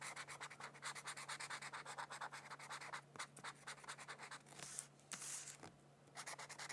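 A felt-tip marker scratches and rubs across a thin white paper mandala coloring sheet lying on a book. It makes quick, bright, papery strokes in a steady rhythm over a faint low hum. The strokes change to a softer, longer rub near the end before the quick strokes return.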